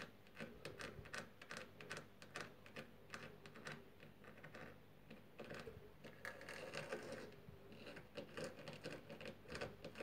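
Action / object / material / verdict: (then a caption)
tap / painted wooden door frame moulding / painted wood / none. Long fingernails tap rapidly on a solid, white-painted wooden door frame moulding, giving a quick, irregular run of light, crisp clicks. The taps come in dense bursts with short pauses, each click fading fast.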